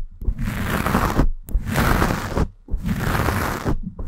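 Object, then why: Foam microphone windscreen. Long painted nails scratch the black foam windscreen on a Blue Yeti microphone in three sustained passes separated by brief pauses. Each pass is a dense, rumbling scratch heavy in the low end, with a faint airy hiss above it.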